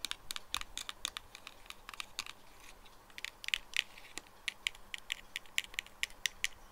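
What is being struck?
Small cardboard box.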